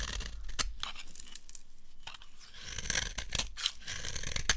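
A dry amber bar soap held in the hand, with long nails gripping it, has its edge cut and scraped by a utility knife blade. The result is a run of crisp, dry crunching and tearing scrapes, with bright, sharp flicks as the blade catches and shaves the bar.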